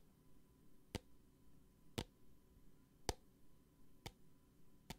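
A small clear plastic hand sanitizer bottle with a green cap and liquid inside is held in a hand and tapped with long painted nails. Five sharp, bright clicks land about once a second, each dying away almost instantly over a quiet low hum.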